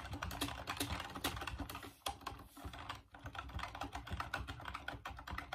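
Fingertips type rapidly on the keys of a full-size off-white plastic Dreamcast computer keyboard, producing a steady stream of short, dry clicks and clacks. The typing pauses briefly near the middle before continuing with the same quick, hollow plastic tapping.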